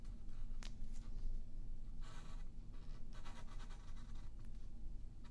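A yellow wooden pencil draws lines across a thin white sheet of printer paper lying flat on a wooden table while the other hand holds the sheet in place. Soft graphite scratching comes in short bright strokes and longer raspy runs over a steady low rumble.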